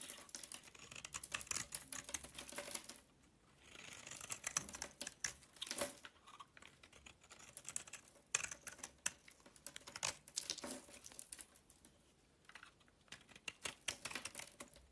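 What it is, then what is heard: Blade scraping a bar of soap. A box-cutter blade scrapes powdery shavings off a solid green bar of soap with a gold-coated surface, held in the hand. Dense, dry, bright scraping ticks and crackles come in bursts, with brief quiet pauses around 3 and 12 seconds.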